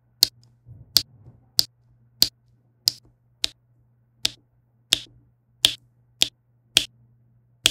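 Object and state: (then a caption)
Resin drills on diamond painting canvas. A plastic diamond-painting pen with a yellow wax tip taps small faceted resin drills into place on a flat adhesive canvas lying on a table. Twelve sharp, bright clicks sound at a fairly steady pace, each dying away almost instantly over a faint low hum.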